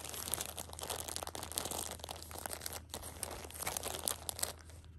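Long nails and fingertips scratch and rub the plastic film wrap of a pocket tissue six-pack that has been flipped to its other side. The result is dense, continuous crinkling and crackling with bright, sharp scratchy peaks, over a faint steady low hum.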